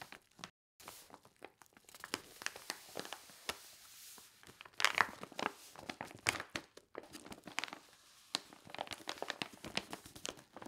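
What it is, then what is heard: Paper padded mailing envelope. Fingertips with long painted nails press and rub across a flat, medium white paper mailing envelope with bubble padding, apparently empty or holding a thin item, lying on a striped cloth; both hands then lift and flex it. Soft, bright crinkling and crackling come through as rapid, dense rustles with sharper pops, separated by a few brief silences. The sound is quiet and dry, with almost no low end.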